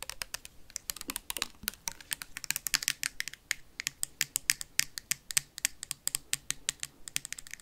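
Paperclips worn on the fingertips rapidly tap and scratch a labeled plastic hand sanitizer bottle with a white cap. About fifty sharp, bright clicks come in a fast, uneven stream, each dying away almost instantly, with a faint scratchy rasp and very little low end beneath them.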